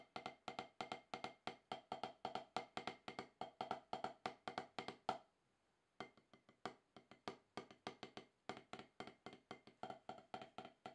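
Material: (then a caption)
Rubber. Wooden drumstick tips tap steady strokes on a solid, octagonal HQ rubber-top snare practice pad, played to shake off more than ten years of rust. Around 54 short, dry, woody taps come at a quick, slightly uneven pace, with a brief pause just after five seconds. Each tap has a mid-pitched knock with a bright edge and almost no ring.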